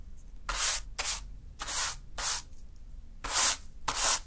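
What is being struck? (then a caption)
Fine sand swept by a fibre hand broom. A small natural-fiber hand broom sweeps a small heap of fine green sand on a dark surface. Six separate strokes are heard, each a bright, hissing rub of bristles through the grains with quiet pauses between them.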